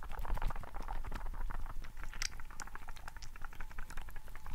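A hand-sized, green translucent rubber frog toy filled with water gel beads is squeezed and rubbed in one hand beside the mic. It makes a dense stream of wet, squishy pops and crackles, like bubbling liquid, over a steady low rumble.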